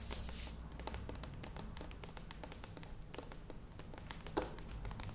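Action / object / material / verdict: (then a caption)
tap / plastic yogurt tub / plastic / none. Long nails tap quickly on the sides of a standing medium plastic yogurt tub, with some tapping near the lid. The result is a rapid stream of short, light plastic clicks with a hollow tone around 500 Hz and a bright edge. A steady low hum runs underneath, with one sharper tap near the end.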